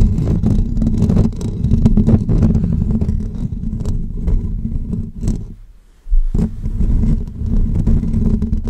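Short natural fingernails continuously scratch the hollow metal wire-mesh grille of a bare pink USB condenser microphone held in both hands. The result is a dense, boomy, low-heavy rasping rumble with rapid scraping strokes. It fades almost to silence for a moment just before six seconds, then resumes at full strength.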